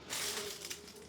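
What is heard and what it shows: Dry, crispy leaves of a neglected Tradescantia, left unwatered in a dark corner for about a month, are rubbed and crushed. A bright, high-pitched rustling crunch fills the whole second, showing the foliage is bone dry.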